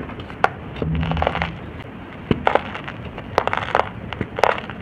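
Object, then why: Lumps of moulded red soil. Bare fingertips squeeze and crush fist-sized, cup-shaped lumps of dry, solid, crumbly red-brown soil moulds, with dust falling onto a soil pile. Dry crunches and crackles come in irregular bursts, with sharp snaps among a soft crumbling rustle and a brief low rumble early on.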